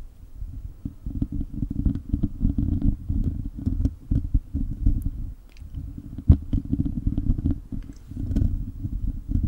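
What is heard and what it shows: A hollow silver metal mesh microphone grille is gripped and scratched with the fingertips and short nails of both hands. Dense, muffled low rumbling and scraping fill the clip, peppered with quick crackly ticks and one sharper click about two-thirds of the way through, with the sound swelling and easing in waves.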